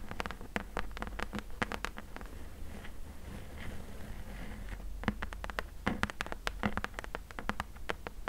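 Long nails tap and scratch the top edge and side of a closed, hollow corrugated cardboard box. Quick, dry, clicky taps come in bursts, with a quieter stretch of soft scratching in the middle before the tapping resumes. A steady low hum sits underneath throughout.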